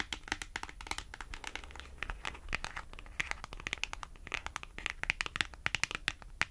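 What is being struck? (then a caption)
Small cardboard price tag. Long acrylic nails tap a small, thin, flat white printed cardboard price tag on its face and edge. The result is a rapid, irregular run of sharp, dry, bright clicks with almost no ring, over a faint low rumble and soft crinkling.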